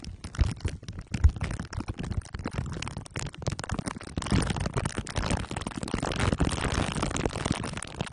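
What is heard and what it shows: Glue sticks are rubbed over the top and sides of a microphone head wrapped in crumpled aluminium foil under clear plastic wrap. The result is a dense, continuous stream of sticky crinkling and crunching, heavy in low rumble with sharp crackles all the way up to a bright top.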